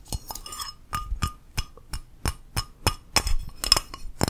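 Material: Ceramic.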